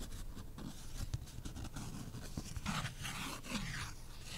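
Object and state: Cardboard beer coaster.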